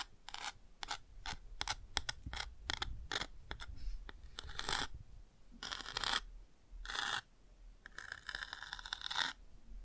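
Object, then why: Cardboard board book with a textured page, scratched by a bamboo pick. A bamboo ear pick scratches and traces across the textured chick on an open cardboard touch-and-feel board book. Quick, bright scratchy strokes come in rapid succession, then give way to longer, sustained scrapes across the surface, over a faint low hum.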